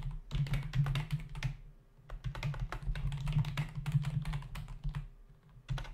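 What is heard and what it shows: Fingertips of both hands type fast on a full-size black plastic membrane computer keyboard with hollow keys, resting on a desk. Rapid bursts of short, bright, hollow key taps stop briefly near the two-second mark and again before the end, over a steady low hum.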